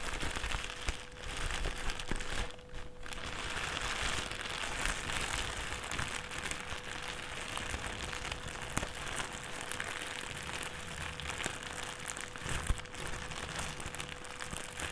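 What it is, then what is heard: Crinkled plastic bag. A thin, empty white plastic trash bag on a table is gathered and crinkled between the fingers of both hands. It makes a steady, dense crackling and crinkling across the whole clip, with bright rustle and a faint constant hum underneath.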